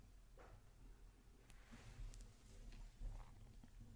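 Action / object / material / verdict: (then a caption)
scrape / metal mesh microphone grille / metal mesh / none. Long teal nails scratch the hollow metal mesh grille of a black microphone. The result is soft, uneven scratching and brushing with a strong low rumble underneath and a few brief bright ticks.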